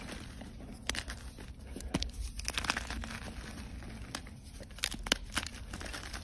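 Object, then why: Block of gym chalk. A solid white gym chalk block is squeezed and crumbled by fingers, with chunks and powder breaking off. Dry, bright crunching and crinkling crackles come in irregular bursts with a few sharper snaps, over a steady low background rumble.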